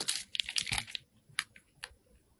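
A metal box cutter blade scrapes and shaves the surface of a hand-sized, solid white rectangular soap bar coated with purple and black sprinkles, held in the hand. Crisp, bright, crunchy scraping sounds come in a dense burst for the first second, followed by a few separate short scrapes with quiet gaps between them.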